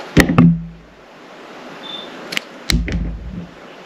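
A metal utility knife blade shaves thin slices from a solid, palm-sized, translucent purple glycerin soap bar held in the hand, with other soaps sitting idle nearby. Short, dull, low-weighted cutting strokes come in two clusters, with crisp bright edges on each stroke and a quiet pause between.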